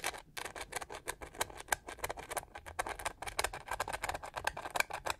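Long nails scratch and tap the pink-gold studded pyramid texture on the plastic back of a handheld detangling hair brush. A rapid run of about thirty short, dry, bright clicks and scrapes comes with almost no low end, each dying away instantly.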